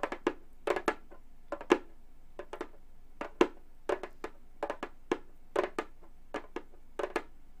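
Gold metal claw nails on both hands tap the synthetic skin head of a hollow Remo frame drum in 25 quick, irregular taps. Each tap gives a short, hollow mid-pitched thud with a bright click on top. The sound dies away almost at once into quiet.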